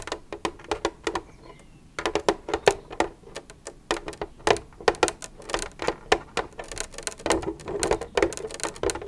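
Long red nails tap and scratch the side of an empty, hollow white plastic milk jug with a green cap lying on its side. Dozens of quick, dry, hollow clicks with a mid-pitched body and bright edges come in uneven bursts, broken by a short pause near the two-second mark. Soft scratching fills the spaces between the taps.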